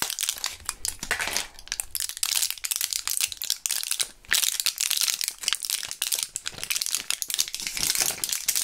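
Gloved fingertips crush and crinkle a small plastic and foil blister pack of purple Thrills gum. The result is dense, bright, crackling crinkles with almost no low end, and a brief lull just past the four-second mark before the crackling resumes.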